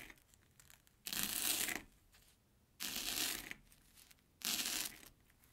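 A steel kitchen knife chops through an airy corn puff stick (Banana Kick) on an orange plastic board. Three separate bright, crisp crunching bursts are heard, each lasting under a second, with quiet pauses between them.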